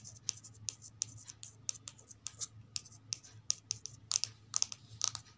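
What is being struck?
Glossy card cover of a thin paperback book.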